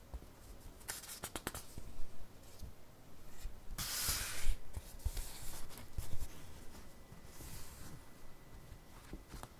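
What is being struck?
Paperback book paper pages.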